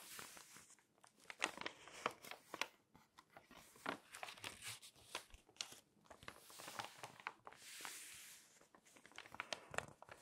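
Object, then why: Glossy paper magazine pages. A hand with long nails rubs the surface of an open glossy paper magazine with full-page tree photos and turns its pages. Quiet, bright crinkling and rustling are broken by sharp scratchy clicks from the nails, with swells of papery swishing as the pages turn.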